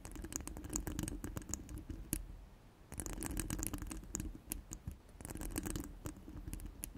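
Long pointed nails scratch rapidly across a hollow steel mesh microphone grille, making dense bursts of dry scratching and clicking with a low thud beneath. The scratching comes in three stretches separated by brief lulls, each tick bright and quick to fade.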